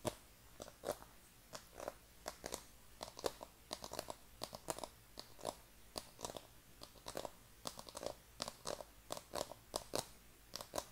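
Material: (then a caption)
Cardboard. A hollow black cardboard iPhone packaging box is held in both hands and tapped and scratched with fingernails. Dozens of quick, dry, crisp clicks and scrapes follow in an uneven rhythm, with a hollow knock around 470 Hz and bright, high crackle on top. The sound stops instantly after each tap, with no ring.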